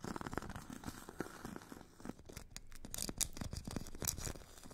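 A metal stick tip scratches the grit surface of a solid hand-held foot file, a purple abrasive grit layer on a white foam core. It makes a quiet, dense run of short, dry rasping scrapes with soft low thuds, and brighter, hissy strokes toward the end.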